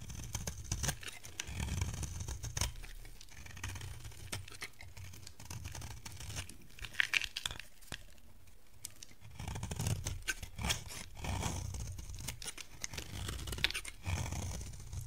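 A dry yellow bar of solid soap held in the hand is shaved with a metal utility blade, sending crumbs falling off. Quick, dense scraping and crunching strokes repeat throughout, with bright crackly edges over a soft low rumble.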